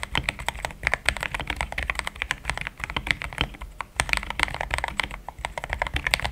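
Fingertips of both hands type steadily on a compact pink-and-cream plastic mechanical keyboard with thick XDA-profile keycaps, Gateron Yellow switches and a polycarbonate plate, sitting on a desk mat. A dense, continuous stream of short, crisp keystrokes is heard, each a bright clack centered around 2 kHz over a soft low thud, with almost no ring after each press.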